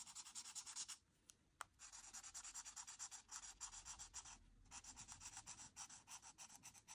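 A marker nib is scratched in dense back-and-forth strokes across a flat white paper coloring sheet to fill in a blue background. The result is a rapid, bright, crunchy rubbing rhythm, interrupted by a brief pause with a sharp tick near the start and a short lull in the middle before the strokes resume.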